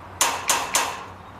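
Three metal taps on a fence, heard with an ear pressed against it while the other end is struck; each tap is a bright, ringing clank centered near 930 Hz that decays over about a fifth of a second. The tap travels through the metal fence before it arrives through the air, since sound moves about 18 times faster in metal than in air.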